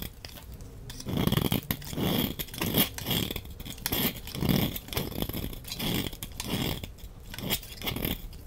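A large, solid, red-orange rectangular soap bar is held in the hand while a utility knife blade scrapes curled shavings off its face. Repeated dry scraping strokes swell and fade, each with a low rasping body and a bright crisp hiss on top. Fine crackles and small crunches run through the strokes.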